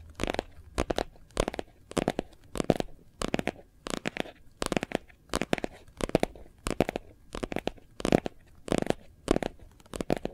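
A phone in a hard white plastic case with a gold foil leaf print is held in both hands and tapped rapidly on the back with fingertips and nails. The taps come in quick clustered bursts of dry, hollow clicks with a midrange body and bright edges. Each tap dies away almost instantly, leaving near silence between the bursts.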